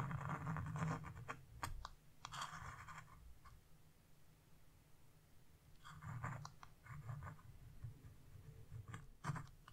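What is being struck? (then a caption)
Scratch-off coated paper and metal chisel. A metal carving chisel, held in a hand with blue nails, scrapes the coating off a flat black-coated scratch-off coloring page. Irregular bursts of dry, raspy scratching come in clusters, with quieter stretches in between, over a steady low hum. Brief sharp ticks stand out between the strokes.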